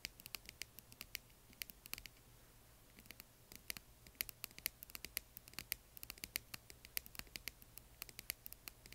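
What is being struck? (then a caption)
Small plastic box partly filled with plastic chips. Long nails and fingertips tap and scratch the sides of a small, hollow, yellow, glittery, translucent plastic box partly filled with plastic bingo chips, resting on black cloth. The result is a quiet, irregular patter of sharp, bright, dry clicks and scratches that stop instantly, over a faint steady low hum.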